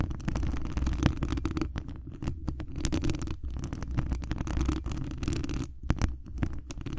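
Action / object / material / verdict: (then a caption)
scrape / metal mesh microphone grille / metal mesh / none. Long acrylic nail tips scratch across the hollow mesh wire dome grille of a large condenser microphone, up close. The result is a dense, continuous scratching with rapid ticking transients over a heavy, boomy low rumble, with brief quieter gaps between bursts.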